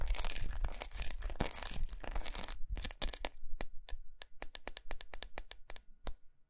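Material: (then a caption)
Chocolate. A large unwrapped solid milk chocolate bar with raised squares, lying on a towel, is scratched and tapped with long nails. The first half is dense, bright, crackly scratching. It then thins into a run of sharp, dry, separate taps with almost no ring.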